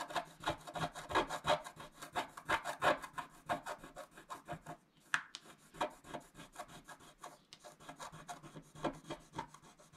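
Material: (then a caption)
Coated paper. A stylus scratches across a flat coated scratch-art sheet in quick, uneven strokes of about three per second. Each stroke makes a dry, bright scraping rasp, and there is a short, sharp tick around the middle of the clip. The stroking is louder at the start, pauses briefly, then carries on more softly.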